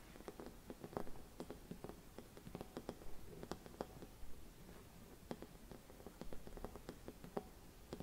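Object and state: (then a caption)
Glass Christmas bauble tapped with fingernails. Long red nails tap a hollow, gold-silvered mercury glass Christmas bauble with a cap and hanging loop. A quiet, uneven series of light, sharp ticks, each with a brief faint glassy ring, sounds over a soft low rumble.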